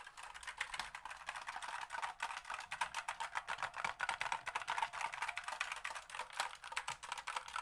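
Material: Plastic.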